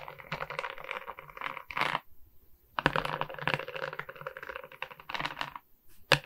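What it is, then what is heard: Resin rhinestone diamond painting. Long nails tap and scratch across the resin rhinestone beads of a larger beaded diamond painting. Dense bursts of dry, bright clicks and gritty scrapes rattle along, break off for a brief silence, then resume before ending on a few sharper taps.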